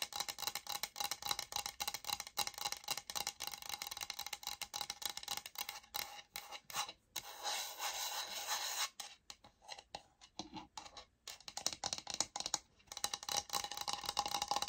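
Long nails tap and scratch the face of a beige laminate flooring sample plank with a barcode label, a solid board held upright. Quick, irregular, bright scratching and rasping run almost throughout, with a steadier scraping stretch midway and brief quiet gaps. There is very little low end.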